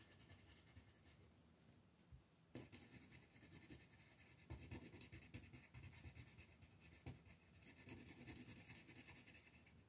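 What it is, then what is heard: Pencil scratching on a paper sheet. A pink colored pencil scratches and rubs in quick strokes over a flat paper mandala coloring page lying on a table. The result is a quiet, steady, dry scratching texture with a bright papery hiss and a soft low rumble underneath. A few firmer strokes stand out around the middle and later in the clip.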